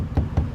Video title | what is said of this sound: EaglesMereAirMuseum | it sounds like a drum it's hollow inside